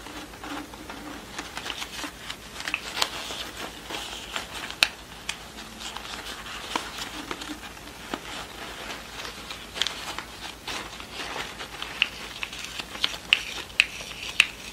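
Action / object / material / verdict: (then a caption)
tap / satin ribbon rosette with cardboard disc / satin, cardboard / none. A yellow pleated satin award rosette with a flat cardboard back disc is held in both hands and turned over while long nails tap and scratch the card disc and the satin pleats. Bright, dry clicks and sharp nail taps cut through a soft, continuous scratchy crinkle. The sound centers around 2.6 kHz with almost no low end, and each tap dies away instantly.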